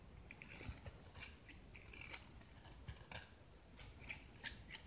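A utility knife blade carves and scrapes chunks off a palm-sized, hand-held solid gypsum (plaster) brick painted blue with yellow specks, and the pieces crumble onto the pile below. Quiet, dry, bright scraping crunches come in short bursts, with faint gritty crumbling between them.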